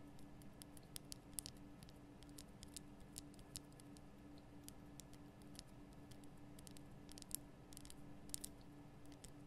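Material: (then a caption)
Rock salt. Long nails tap on the sides of a large lit pink Himalayan rock-salt lamp, a solid rough crystal block. The taps are quiet, short, dry clicks with a bright edge, scattered irregularly and sometimes in quick clusters. They sit over a steady low hum and background rumble.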